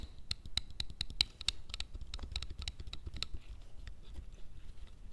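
Fingertips tap and scratch the surface of a soft, hollow dark grey canvas cloth fanny pack resting on a table. Quick, dry taps and rough scratching strokes come in a dense, uneven patter, each with a bright crisp edge and a soft low thump, dying away almost instantly.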